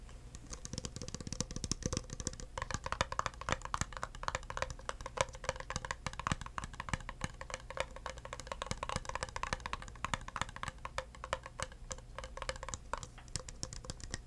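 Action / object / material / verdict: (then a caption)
tap / plastic drinking cup / plastic / none. An empty, hollow clear plastic drinking cup is held in the hand and tapped rapidly with the fingertips, no nails. The taps are quick, soft and hollow, with a faint tone near 540 Hz and almost no ring. A steady low hum sits underneath.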